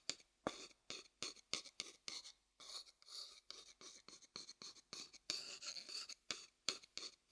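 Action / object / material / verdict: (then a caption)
tap / upturned wooden bowl tapped and rubbed with a wooden stick / wood / none. A thin wooden stick taps and rubs the outer base of a pale, hollow wooden bowl held upside down. Short, dry clicks alternate with brief scratchy strokes, all bright and high with almost no low end. The sound is quiet and close, and each tap dies away at once.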